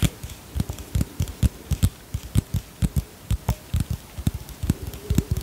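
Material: Plastic.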